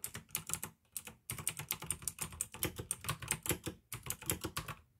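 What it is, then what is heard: Plastic mechanical keyboard. Fingertips type rapidly on a pink AUKEY plastic mechanical gaming keyboard with blue switches, giving a stream of short, crisp clicky keystrokes with bright high clacks over a low plastic thud. Brief pauses break up the typing bursts.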